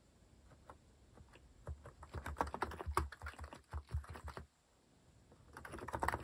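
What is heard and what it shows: Fingertips type continuously on a compact mechanical keyboard with a white plastic case and plastic cat keycaps. Rapid, short clacking keystrokes with a deep, thocky low end build into a dense burst, fall quiet for about a second, then pick up again and grow louder.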